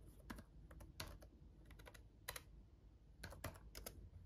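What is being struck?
Plastic laptop keyboard keys.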